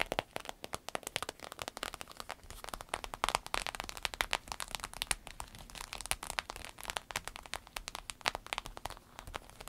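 Long red nails scratch and tap across the flap of a soft, hollow green paisley purse made of fabric with a glossy vinyl coating. A steady stream of quick, dry, crackling taps and crinkly scratches sounds bright and papery, with little low end and no ring after each tick.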